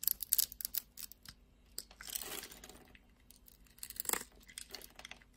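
A utility knife blade scrapes and cuts a solid, translucent, pink ribbed glycerin soap bar held in the palm. It makes quiet, bright, crisp crackling and shaving sounds in quick bursts. A longer, softer scrape comes through the middle, and a sharper slice follows near the end.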